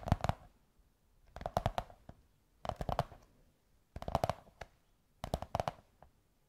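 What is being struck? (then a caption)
Cardboard tube. Long white nails scratch and tap a beige kraft cardboard tube. Five short bursts of quick, dry taps come about a second and a half apart, each with a dull, hollow low thump and a brief scratchy click. The sound is quiet and dies away almost at once.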